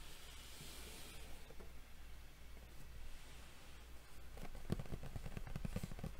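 Long fingernails of both hands tap and scratch a hollow, printed cardboard Yu-Gi-Oh Duel Devastator box lying flat. Faint, soft scratching over a steady low hum gives way after about four seconds to a quick, uneven run of dull, hollow taps.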